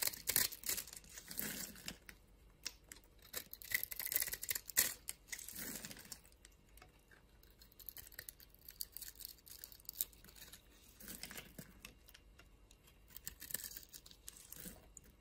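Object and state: Bar of soap being carved.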